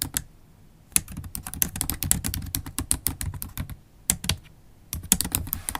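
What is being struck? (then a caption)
Laptop keyboard, plastic keys tapped with long nails. Long holographic acrylic nails tap the black plastic keys of a MacBook Pro laptop keyboard in steady typing. Quick, bright clicks with a low thud beneath come in bursts, separated by short pauses.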